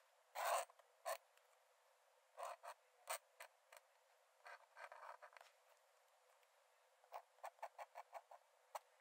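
A metal nib in a wooden dip-pen holder scratches quick hatching strokes onto the cream paper page of an open sketchbook lying flat on a dark desk. Quiet, dry, papery scratches come in short bursts and small clusters, with a faster run of crisp strokes near the end. Each one is thin and bright with no low end, and it stops almost at once.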